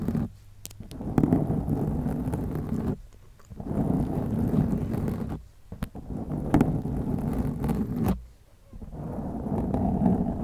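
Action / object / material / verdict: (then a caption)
scrape / foam microphone windscreen / foam / none. Long acrylic nails scratch across a black foam windscreen on a white microphone, producing a dense, muffled, low rumbling scrape with little high-end content. The scratching comes in four sustained stretches separated by brief pauses, with occasional sharper clicks from the nails.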